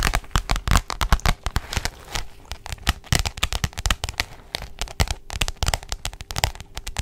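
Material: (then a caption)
Plastic. Long jeweled nails tap and scratch rapidly across the glossy plastic cover of a pink, roughly A4 spiral notebook held flat. The result is a dense stream of sharp, bright clicks with crinkly scratching between them. Each tap dies almost instantly.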